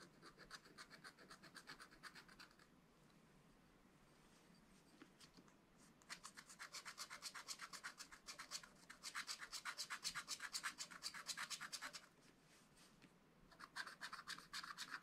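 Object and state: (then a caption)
Scratch-art paper scratched with a stylus. A wooden stylus scratches short strokes into a thin black wax-coated scratch-art paper page of a spiral notebook resting on a table, while the other hand steadies the pad. The rapid, dry, bright scratching comes in runs of about four strokes per second, with quieter, softer stretches between bursts.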